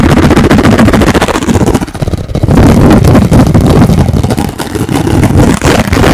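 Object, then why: Thin plastic food container lid. A hand-sized, thin, hollow translucent blue plastic food container lid is held in both hands in front of the mic while fingertips and nails rapidly tap and scratch its surface. The result is a dense, fast stream of hollow, bassy taps and scratchy rustling with a brief quieter dip around the two-second mark.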